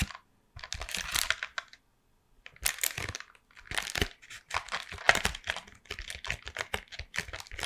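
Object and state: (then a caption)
Cardboard chocolate box. A closed, full Toffifee cardboard box, likely still in its plastic wrap, is held in both hands and tapped rapidly with long painted nails. The result is bursts of crisp, bright, crinkly clicking separated by short pauses, with little low end and a dry, quick decay.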